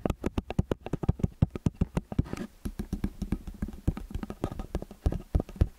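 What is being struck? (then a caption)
Metal stereo microphone capsules. Fingertips and nails tap the capsule heads of a metal stereo microphone with angled capsules. A quick, uneven run of dozens of short, dry taps comes through as deep, boomy thumps with a brief scratchy rustle midway. Each tap dies away almost instantly.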